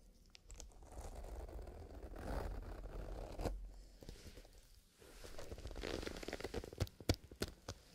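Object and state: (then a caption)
Leather pencil case being handled. A small, soft black leather zipper pencil case, its zipper closed, is held and squeezed with the fingertips while the leather surface is rubbed and scratched. Soft scratchy rustling and crinkling swells and fades over a low rumble, then gives way to several sharp, bright ticks near the end.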